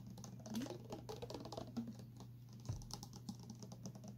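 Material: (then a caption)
Plastic. A tall clear plastic water bottle with printed text and an inner straw, partly filled with liquid, is tapped with fingertips and short nails. Quick, light, dry clicks and pats come in an irregular patter over a steady low hum. Each tap dies away almost at once.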